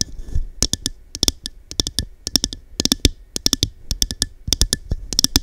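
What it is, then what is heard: Cut-glass cup tapped with fingernails. Long dark nails tap rapidly and irregularly on a small, hollow, empty cut-glass cup with a diamond-pattern texture held over the mic. Each tap is a sharp, bright click with a soft low thump underneath, dying away almost instantly. The taps come in uneven clusters with brief pauses between them.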